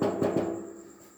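A knock on the thick steel body of a vintage pedal car gives a solid, dull, mid-pitched thud that fades within about a second. The steel is solid and much thicker than that of a toy fire truck.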